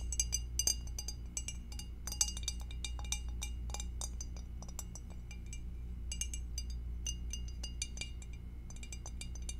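An empty, hollow, clear glass two-compartment rectangular food dish is held and tilted in both hands while long acrylic nails tap its rim and base. The result is a quick, irregular run of bright, high glassy clinks that die away almost at once, over a steady low hum.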